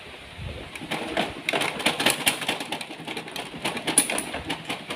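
A Canon inkjet printer with insects and dust lodged inside is shaken on its front paper-output side, making a continuous bright rattling and clattering of loose debris over about five seconds. Insects and dust come out, and the printer then works normally again without a repair.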